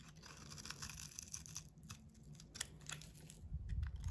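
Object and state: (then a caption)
Bar of soap scraped with a blade. A solid, hand-sized bar of soap with a blue textured painted coating is scraped with a utility knife blade, shaving it into white curls. Dry, crisp scraping and crackling strokes repeat in quick, uneven succession, with brief bright rasps over a low rumble. The rumble thickens toward the end.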